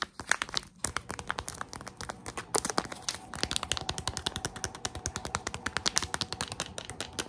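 Long acrylic nails tap rapidly on a small, soft, printed plastic/foil Tsum Tsum blind bag filled with a plush. The result is a fast, uneven run of dozens of sharp, bright crinkly clicks with very short decay and little low end.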